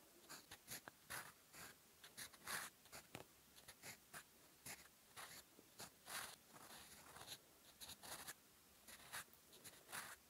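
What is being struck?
Fountain pen nib on paper notebook page.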